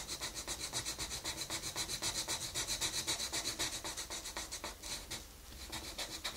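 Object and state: Colored pencil shading on a paper page.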